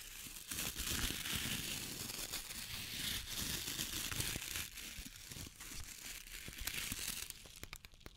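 Long painted nails scratch over the natural bristles and solid wooden back of an oval, hand-sized wooden bath body brush with a white strap, held in the hands. The result is a dense, bright, crackling scratch with rapid rustling bursts and a faint low rumble underneath. The sound stays steady for most of the clip, then thins into sparser, quieter scratches near the end.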